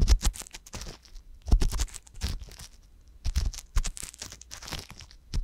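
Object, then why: Silicone ear of a binaural microphone, scraped with a wooden ear pick. A wooden ear pick with a metal tip repeatedly scratches inside the canal of the left silicone ear on a binaural microphone. It makes dense bursts of crackly, crunchy scraping with bright, hissy edges and a heavy low rumble. The bursts come in uneven clusters separated by brief quiet gaps.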